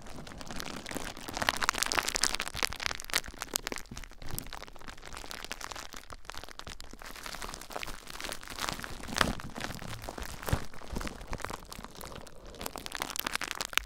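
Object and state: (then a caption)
Plastic bubble wrap being popped and scratched. A large sheet of clear plastic bubble wrap with hollow, air-filled bubbles is wrapped around a recorder while short-nailed fingertips squeeze, scratch and pop the bubbles. The result is dense, close crinkling and crackling with sharp, bright pops scattered throughout, over a low rumble from the wrap being handled against the recorder.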